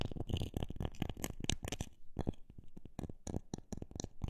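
Long black nails tap the face of a solid rectangular block of light pine wood with visible growth rings on its end grain. A run of quick and slower taps sounds as dull, low thuds that die away almost at once.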